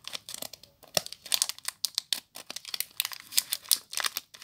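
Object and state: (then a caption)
Plastic-wrapped soap bar. Long nails scratch and crinkle the clear plastic wrapper on a small bar of soap. The result is a rapid, uneven series of sharp, dry crackles and scratches, bright and high with almost no low end, each snapping off quickly.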